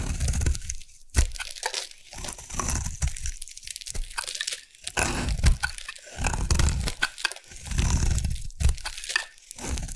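A metal blade carves a solid rectangular purple bar of soap held in the hand, shaving it into crunchy curls. Dense, crackling crunches and scraping come in bursts with short quiet pauses, carrying a heavy low thump beneath a bright, crisp texture.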